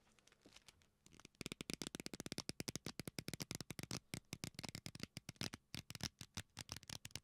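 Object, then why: Leather belt. A leather belt is bent and squeezed with both hands close to the mic and pulled taut across the knuckles, so the leather rubs and creaks. After a quiet, soft first second, it breaks into a rapid run of about 46 short, dry, bright crackling creaks that stop dead with no ring.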